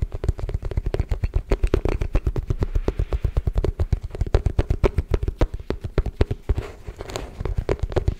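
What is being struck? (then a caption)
Hollow wooden folding chess board. A folded, hollow wooden folding chess board is held upright and rapidly tapped with fingertips and nails on its checkered surface. The result is a fast, steady run of short, dry knocks with a deep, hollow thud and almost no ring or bright content.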